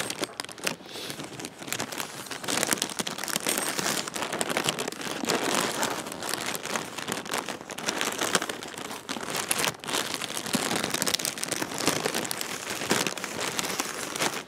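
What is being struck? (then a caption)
Thin plastic air-cushion packing bag. A small translucent plastic air-cushion packing bag with blue printing is held close and crinkled between the fingertips, the thin film rubbed and squeezed. The result is a steady, dense stream of crisp, bright crinkling and crackling for the whole clip, with almost no low end and only brief dips between bursts.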